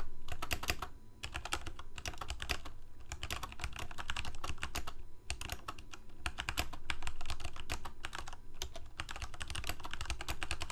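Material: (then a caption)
Plastic. Fingertips of both hands type rapidly on a full-size black plastic Corsair mechanical keyboard with lit keycaps. Dense, uneven bursts of sharp, bright key clacks run over a low thump, with a couple of brief pauses between runs.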